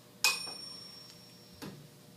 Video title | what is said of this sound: Resonance - 2/11 | it vibrates at that no matter what I hit it with